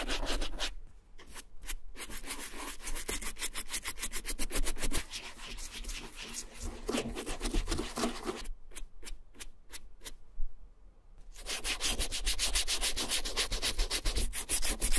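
A small wooden-handled dauber brush with dark bristles scrubs the heel and strap of a dark, distressed two-tone FRYE vintage leather boot in quick, repeated strokes. The result is a steady, bright, scratchy rubbing rhythm, broken by two short pauses.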